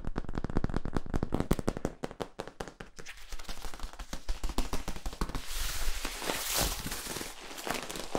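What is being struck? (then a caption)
Corrugated plastic tube. Fingers scratch and tap along the ribs of a long, hollow yellow corrugated plastic tube held upright. A rapid run of dense, dull taps fills the first few seconds, then softens into a scratchy rasp. Toward the end the scraping turns brighter and hissier, with scattered clicks.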